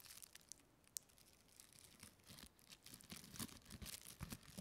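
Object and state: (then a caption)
Clear plastic packaging strip being crinkled. A small, thin, flexible clear plastic packaging strip with a textured surface is held in both hands and crinkled and rubbed with long painted fingernails and fingertips. Bright, crackly crinkles and scratchy rustles come in irregular bursts, quieter at first and growing denser and louder toward the end.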